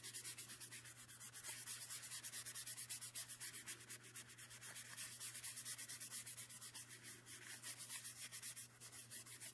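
A soft orange makeup brush is rubbed and swept across the surface of a small, empty, white thin-cardboard box that is open at one end and held in one hand. The result is a quiet, bright, hissy scratching made of a steady run of quick, rhythmic strokes, over a faint constant low hum.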